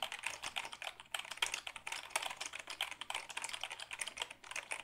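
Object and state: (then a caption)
Plastic computer keyboard being typed on. A black Dell keyboard made of hollow plastic is held tilted while fingertips type on its keys. A quick, steady run of sharp, bright plastic clacks comes through with almost no low end, each click dying away almost at once.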